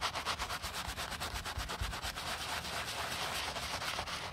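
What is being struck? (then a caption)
Leather sneaker scrubbed with a bristle brush. The heel counter of a white leather low-top sneaker is scrubbed with a wooden-handled bristle brush and light foam. Quick back-and-forth strokes make a bright, hissing rasp with soft low thumps, repeating at a steady, fast pace.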